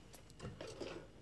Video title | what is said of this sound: Propane Mercaptan Removal | You can hear some liquid sloshing around in there, so it did work.